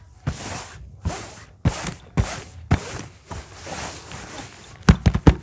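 A large orange textured faux-leather bag is tapped and scratched on its top surface with fingernails and fingertips. Slow scraping strokes, each with a soft thump at the start and a bright hiss, come about every half second. The clip ends in a quick cluster of sharp, dry, low taps.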